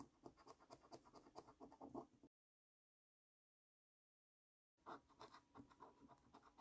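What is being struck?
Paper scratch card with latex coating.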